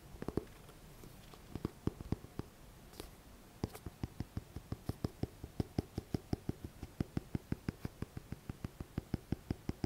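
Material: Paper.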